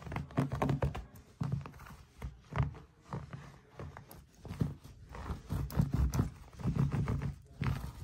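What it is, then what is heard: Chunky knit yarn mat. Fingertips and nails scratch and rub across the knit loops of a large chunky braided bath mat made of thick, soft orange, white and grey yarn (wool or chenille) lying flat on a surface. The result is a steady run of dull, muffled, low-pitched scratching thumps and soft rustles with almost no bright edge.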